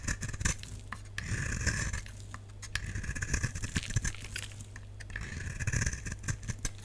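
A utility knife blade shaves a solid lilac oval bar of dry soap held in the palm, peeling off flakes and curls. Repeated crisp, dry scraping strokes come in bursts with bright hiss over a steady low hum.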